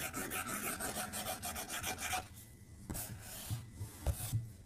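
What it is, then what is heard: Stylus scratching on a glass tablet screen. A plastic stylus tip scribbles repeatedly across the flat glass screen of an iPad tablet, making a fast, dense rasping scratch for about two seconds. It then turns to quieter, sparser strokes with a few soft low bumps toward the end.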